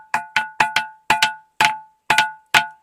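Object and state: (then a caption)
Ringing musical rock. An umbrella-shaped granite boulder at the Rayachoti musical rocks is struck 10 times in a rhythm, giving bright, bell-like, cowbell-like rings pitched around 1.5 kHz. Each ring decays quickly, and its umbrella shape is said to make the resonance echo all around, carrying more strongly to listeners farther away.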